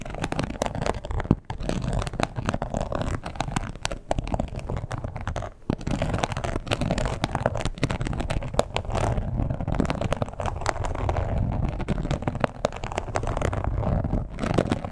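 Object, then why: Embossed leather wallet. A red croc-embossed leather wallet, lying flat and closed with a leather strap, hollow but padded, is scratched and tapped with long pointed acrylic nails. The result is a steady stream of dense, rapid, dull scratches and soft taps. The sound is weighted toward low frequencies with very little brightness, and each tap dies away almost instantly.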